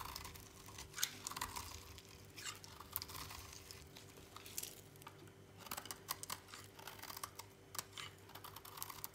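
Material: Soap.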